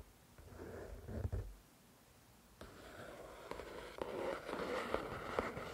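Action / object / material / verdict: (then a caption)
tap / paperback book with card cover / paper / none. Long nails scratch and tap the glossy card back cover of the solid paperback book *The Shack*, then move to the front cover. The result is soft, papery scraping with a few sharper, brief taps that rise out of a low, steady rustle.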